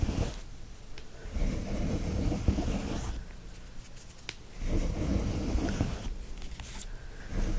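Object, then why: Cotton terry cloth towel. Fingertips and nails scratch and rub fast across a flat brown cotton terry towel printed with a gnome, lying on a fluffy blanket. The result is a dense, low, muffled scratching and rustling that swells and fades in waves, with a few faint sharper scrapes.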